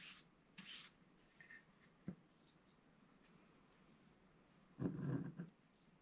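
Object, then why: Black-coated scratch-art paper card scratched with a wooden stylus. A wooden stylus scratches fine lines into a flat, black-coated scratch-art paper card. A few short, soft, dry scratches are spaced apart over quiet pauses, then a longer, louder rasping stroke comes near the end.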